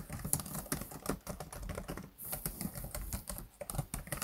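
Both hands type and tap with their fingertips on the black plastic chiclet keys of a laptop keyboard. A rapid, uneven run of soft, dry clicks and clacks follows, each dying away almost instantly. The sound is muffled and weighted toward the low end.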